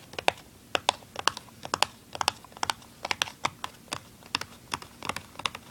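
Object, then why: Small printed cardboard box. Fingernails tap and scratch the printed side of a small, hollow, open and empty printed cardboard tuner package. About 25 quick, dry, bright clicks land in an uneven rhythm, each dying away almost instantly, with faint scratchy texture between them.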